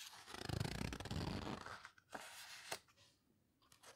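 Fingertips rub and squeeze the paper pages of an open photo book and turn them. A dense, loud rustle of paper fills the first half, then gives way to quieter scraping broken by a few sharp crinkles of pages being turned, before fading to a soft brush.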